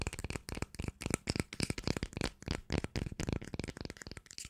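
A small cylindrical plastic cream jar with a green label and a black lid, held in both hands, is tapped with long nails on its lid and sides. The result is a rapid, uneven run of short, dry clicks and taps with no ring after each hit, with a hollow low thump under a bright crackle.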